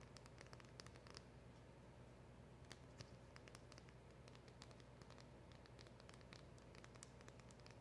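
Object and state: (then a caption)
Cardboard box tapped and scratched with nails. Long acrylic nails tap and scratch on a small, hollow black printed cardboard box with a round emblem sticker. Quick, bright clicks scatter over a soft, continuous scratchy rustle and a low, steady hum. The sound stays quiet and even throughout.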